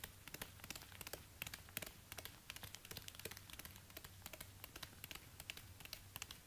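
Orange rubber-gloved fingertips tap and scratch the hard plastic/rubber outsole, with worn patches, of a single black high-heeled ankle boot held upside down. A rapid, irregular run of short, crisp clicks and scratchy rasps follows, each dying away almost instantly, over a faint, steady low hum.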